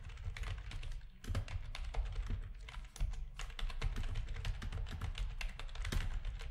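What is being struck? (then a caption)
Plastic computer keyboard. Rapid key presses are typed with the fingertips of both hands on a full-size black plastic backlit RGB gaming keyboard with a hollow housing. A dense, steady stream of short clicky taps carries bright click tops over a heavy low, hollow thump, with each press dying away quickly.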